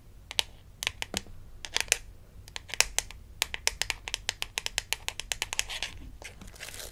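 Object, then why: Small flat plastic badge card. Long acrylic nails tap and scratch across a small, flat plastic toy dentist ID badge from a Melissa and Doug Super Smile Dentist Kit, held in the hand. About thirty quick, bright, dry clicks stand out over a soft scratchy rasp. Each tap stops instantly with no ring.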